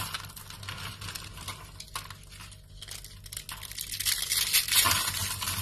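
Rolled curls of thin, dry pink soap shavings, formed into hollow coils, are crushed and crumbled between fingers with short painted nails into brittle flakes. The result is a dense run of crisp, bright crackling and crunching snaps over a faint low hum. The crunching grows louder and sharper toward the end.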